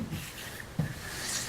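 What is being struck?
Nothing is struck.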